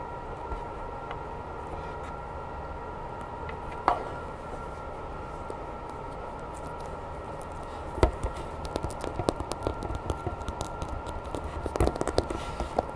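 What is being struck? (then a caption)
Soft vinyl monster toy figure. Long red-painted nails scratch and tap the textured body and spines of a medium grey, hollow, soft vinyl Godzilla monster figure held in both hands. A soft scratching texture sits over a steady low hum, broken by a single sharp tap near four seconds. From eight seconds on, the taps come quicker and more irregular as short, dry clicks.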